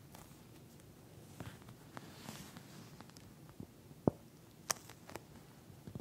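Long nails on both hands scratch and tap across a pink, flat eye mask with a clear plastic shell filled with small gel beads. Soft, quiet scratching and rustling carries on throughout, broken by a few sharp, dry clicks near the end.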